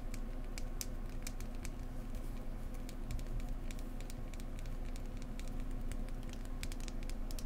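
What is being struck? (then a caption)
Small polished wooden egg. A small, solid, dark-brown polished wooden egg is held in one hand and tapped with long painted nails close to the microphone. Quick, irregular, gentle taps make short bright clicks that die away almost at once, over a steady low hum.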